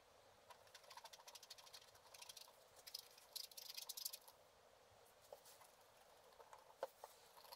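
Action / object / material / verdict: scrape / black-coated scratch art card scraped with a wooden stylus / coated paper / none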